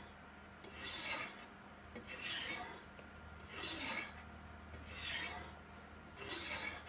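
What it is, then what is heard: Knife sharpened on ceramic rods. A steel chef's knife is stroked down two white triangular ceramic rods set in a V in a black plastic Sharpmaker base, held steady by a hand. Five bright, rasping scrapes of steel edge on solid ceramic come at a steady pace, each swelling and fading, with quiet pauses between them.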